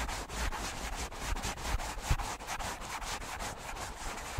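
Fingertips and nails rub and scratch the soft foam of two matching black foam windscreens on stand microphones. The result is a steady, uneven rustling scratch with a bright hiss over a muffled low rumble and occasional soft thumps.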